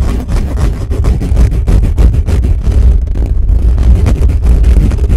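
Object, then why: Metal mesh microphone grille. Fingertips of both hands scratch fast and hard over the bare metal mesh grille of a black condenser microphone, one hand arching over the top. The result is a loud, dense, booming rumble made of rapid, closely packed scratching strokes, heavy in the low end with almost no brightness.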